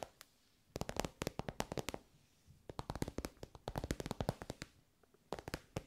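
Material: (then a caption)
Synthetic fabric. Long nails tap on an elongated soft pencil case covered in glossy pink synthetic fabric. Three bursts of quick, dry, crisp taps are heard, separated by brief quiet pauses. Each tap dies away almost immediately.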